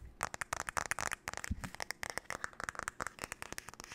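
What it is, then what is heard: Wooden hairbrush tapped with nails. Long nails tap and scratch the back and handle of a flat, paddle-shaped solid wooden hairbrush held by hand near the mic. About 22 fast, sharp, dry clicks come in a chaotic run, with faint scratchy scraping between them. Each tap is bright and woody, centered around 1.3 kHz, and dies away almost instantly.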